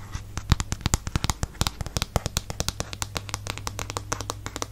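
Fingernails tap and scratch the glossy back and ridged rubber-grip handle of a black plastic paddle hairbrush. A rapid, uneven series of short, sharp clicks and bright scratches plays over a steady low hum.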